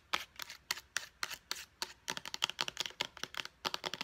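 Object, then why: Plastic pump bottle. Long painted nails tap and click quickly on a small, hollow white plastic pump bottle of face wash with a purple pump top. Sharp, bright, dry clicks with almost no low end stop instantly without ringing. The taps come evenly spaced for the first two seconds, then speed up into a denser, faster run.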